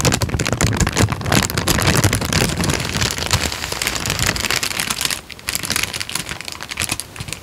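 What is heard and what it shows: A creased tan paper sheet is bent and waved with both hands, producing dense, rapid crackling and crinkling with a bright, hissy edge over a soft low rustle. The crinkling stays busy and loud for about five seconds, then drops briefly and continues a little quieter to the end.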